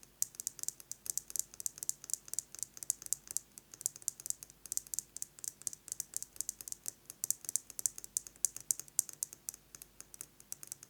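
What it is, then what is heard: Metal lipstick case. Fingernails tap rapidly on a metal lipstick case, producing a steady stream of dozens of sharp, bright clicks over about eleven seconds. Each tap is dry and high-pitched, dying away almost instantly with no low-end weight.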